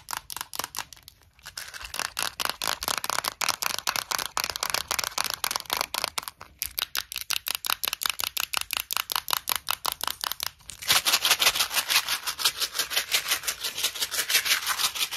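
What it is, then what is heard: Plastic mint box with mints inside. A small, clear plastic Tic Tac box full of red mints is tapped with long nails, giving rapid, crisp, bright clicks at roughly three per second, with brief pauses in between. For the last few seconds the box is shaken, and the mints rattle louder and more densely against the plastic.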